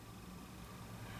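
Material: Nothing is struck.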